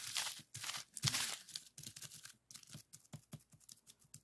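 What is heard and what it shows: A flat, clear plastic bubble wrap sheet lying on a desk has its hollow bubbles rapidly pressed and popped with fingertips. The first half brings longer bright crinkling, crackling bursts of plastic. The second half breaks into a quick, uneven run of short, sharp pops with a faint low thump beneath each.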